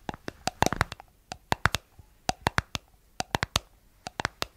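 Long acrylic nails tap and scratch the white plastic lid and sides of a palm-sized, hollow, round cosmetic jar with a blue body, its contents not visible. About twenty sharp, dry clicks come in quick clusters of two to four, each bright and hollow-sounding and dying away almost instantly. Faint scratchy rustling fills the gaps between them.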